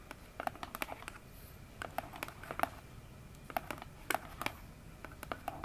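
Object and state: Cardboard box tapped with nails.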